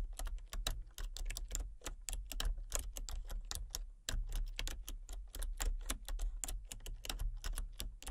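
Fingertips with long painted nails type rapidly on a full-size backlit plastic RGB computer keyboard with hollow key switches and colour-cycling lights. Dense, bright, clicky key taps run continuously, with a brief lull near the middle, over a steady low hum.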